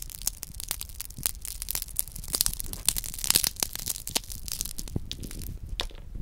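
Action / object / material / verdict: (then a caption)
scrape / chocolate praline with wafer shell / chocolate, wafer / none. A small round chocolate hazelnut praline is held and squeezed between the fingertips, so its milk chocolate and nut coating cracks open over the hollow wafer shell beneath. Dense, crisp crackling fills the clip with rapid, sharp, bright snaps and crunches. Each snap cuts off almost instantly against a soft low rumble.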